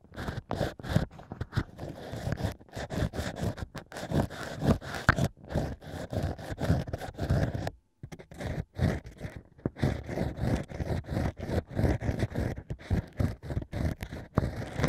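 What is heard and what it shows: A bamboo ear pick scratches the inside of the hole in a stack of drilled natural wine corks set in a plush holder. It makes rapid, dry, crunchy scraping strokes with a low, muffled body, broken by a brief pause around the middle.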